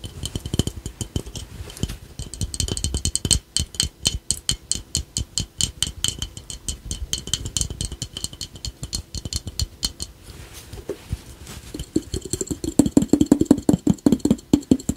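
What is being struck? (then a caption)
Glazed ceramic piggy bank. A small, glossy glazed ceramic ladybug piggy bank, hollow with a coin slot, is held in both hands and tapped on its red shell with fingertips and short nails. Rapid, uneven streams of short, bright clicking taps mix soft thuds with a faint hollow ring. Toward the end, the taps bring out a clearer low-mid tone from the shell.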